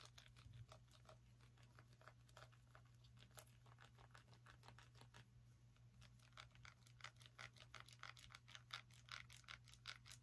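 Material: Pumpkin rind.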